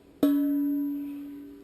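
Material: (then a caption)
Steel. A welded steel two-stroke expansion chamber exhaust pipe, held at the bottom of the cone, is thumped once and rings like a bell. Its clear tone, around 285 Hz, sustains for over a second, showing the pipe is made right. The ring is used to check that two pipes match in dimensions.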